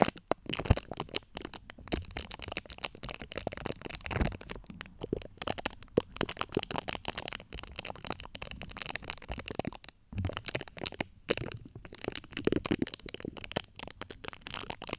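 Long acrylic nail tips scratch across the top of the domed, hollow steel-mesh grille of a large USB microphone. The result is a dense, continuous run of crackly scratching and rapid dry clicks that spread from low rumble to bright hiss. Each click dies instantly, and there are brief pauses between bursts.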